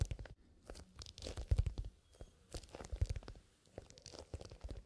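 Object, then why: Leather zipper pencil case. Fingertips with short nails scratch and tap along the side of a soft, hollow black pebbled leather pencil case with a zipper top. Bursts of dry, crunchy scratching with quick taps carry a deep, dull thump underneath and some brighter rasping edges, arriving in uneven clusters separated by short quiet gaps.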